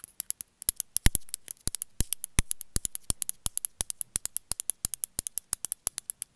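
A small grey speckled ceramic cat figurine, likely hollow, is held in one hand and tapped and scratched with long metallic-tipped nails. Dozens of sharp, dry clicks sound in an irregular run, with a few brief scratching rasps between them.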